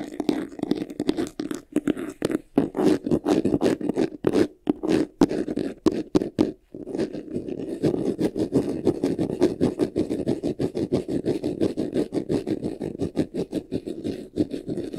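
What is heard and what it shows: Fingertips and nails scratch fast on the upper front of a medium white vanity case, a hollow box covered in textured faux leather, near its handle strap. The first half is choppy bursts of scratching broken by short silences. It then settles into a steady, continuous rasping with a warm, low-mid body and a dry, brushy edge.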